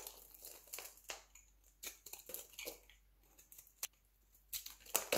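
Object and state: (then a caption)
Dry soap flakes. A light green dry soap bar is cut with a utility knife, then fingertips crumble and crush the brittle flakes on the table. Quiet, dry, bright crackles and crunches come in short bursts with brief pauses, each snap dying away almost at once.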